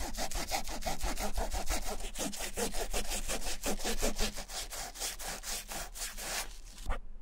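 A fingertip wrapped in white cloth rubs and wipes back and forth along the white textured rubber midsole of a Vans Slip-On canvas shoe. It makes a steady run of quick, bright, scratchy swishes with a low hum underneath. The strokes stop just before the end.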